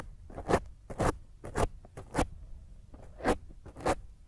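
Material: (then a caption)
Foam. Long grey nails scratch and fingertips rub a black dome foam microphone windscreen. The result is a series of rough, dry, crunchy scraping bursts with a heavy low rumble, arriving at an uneven pace with quieter rustling in between.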